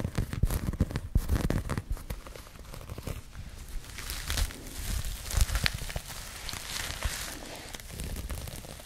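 Long nails scratch and rub across a pink crocheted yarn bag, giving dense crackly, rustling scrapes with sharp bright edges over a low, muffled rumble. Louder bursts of scratching come early and again near the middle and toward the end, with softer rubbing between.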